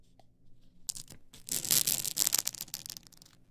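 Long acrylic nails scratch the stacked edges of a tall stack of blank polycarbonate CD-R discs on a plastic spindle. The result is a dry, bright, ripping scratch that starts with a few faint ticks, then swells into dense, fast, irregular rasping in the middle before trailing off into lighter scrapes.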